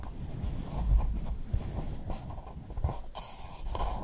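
Long nails tap the base and sides of a small, hollow pink paper cup placed upside down over the microphone. The result is a run of soft, muffled, low thumps that fade almost at once, with faint hollow clicks on top.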